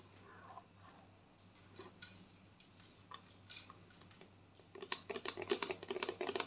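A white plastic lotion bottle, held tilted, is tapped rapidly with long painted nails. Soft, scattered clicks give way after about five seconds to a quick, uneven run of short, hollow plastic taps with a tone near 400 Hz. Each tap is dry and dies away almost instantly over a faint, steady low hum.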